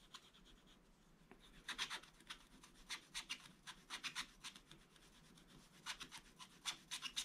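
A wooden stylus rubs quick scratch strokes across a black-coated scratch-art paper page. The short, dry, bright rasps come in irregular bursts over a faint background hiss, each scrape fading almost at once.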